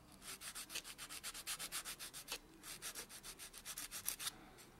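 A white solid foam buffer block is rubbed back and forth over natural fingernails in quick, steady buffing strokes. It makes a soft, bright, hissing scrape, about 24 strokes in two runs separated by a brief pause. The sound is quiet and dry, with almost no low end.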